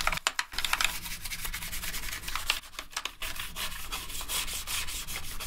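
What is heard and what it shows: A gloved hand scrubs a toothbrush between the plastic keycaps of a black plastic gaming keyboard. The result is a steady, bright bristly rubbing and scratching with quick brushing strokes and a few short clicky taps near the start.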